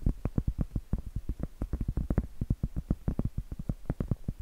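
Acrylic nails tap and scratch across the flat face of a round solid cork trivet, making a quick, steady run of about thirty soft, dull knocks. Each knock is muffled and low, dying away almost at once, with a faint scratchy texture between them.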